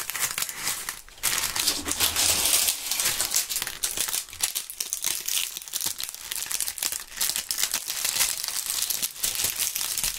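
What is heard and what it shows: Dry maple leaves are rubbed and crushed between gloved hands, giving a dense run of brittle, crackling crunches over about ten seconds. The sound is bright and papery, with quick crisp snaps layered through a steady rustle and almost no low end.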